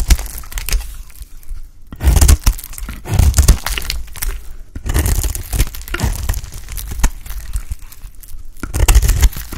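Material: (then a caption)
Soap. A bright green solid bar of dry soap, held in the hand, is cut and cracked with a utility knife blade. Sharp cracking, crunching and scraping bursts come in waves with short quiet gaps, over a heavy low thumping undertone.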